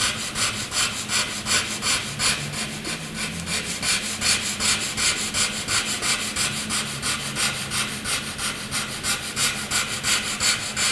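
A graphite pencil is scratched across a flat sheet of white drawing paper in dense shading strokes. It makes a steady, rhythmic, bright scratchy rasp that repeats quickly back and forth, with very little low end.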